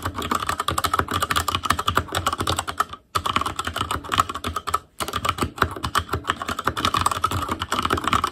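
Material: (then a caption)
Plastic. Fingertips of both hands type rapidly on a full-size ASUS ROG Claymore Core keyboard with plastic keycaps on Cherry MX Red switches, a metal plate, a hollow case and RGB backlight. A dense stream of short, clicky key taps centers around 1.3 kHz with a bright top and a little low thud. Two brief pauses break the typing, near 3 seconds and just before 5 seconds.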